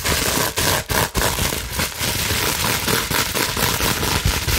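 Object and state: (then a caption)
Plastic bubble wrap being scratched. Long nails scratch rapidly across the bubbled surface of a clear plastic bubble wrap sheet held up in the air. The result is a dense, continuous crackling and scraping with bright, hissy texture and a few brief dips in loudness.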